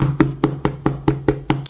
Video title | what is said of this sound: How to Spot a FAKE Vintage Dooney & Bourke Bag - Tips to Authenticate Vintage Dooney & Bourke Bag | Can you hear how that sounds plastic? Yeah. So, it's like polyurethane.